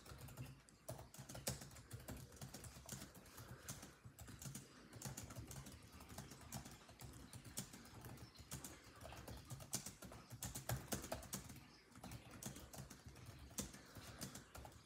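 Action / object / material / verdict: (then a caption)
tap / plastic laptop keyboard / plastic / none. Fingertips of both hands type rapidly on a grey laptop's built-in keyboard with dark plastic chiclet keys. The result is a dense stream of quick, sharp, bright key taps over a steady low hum, with short bursts and brief pauses throughout.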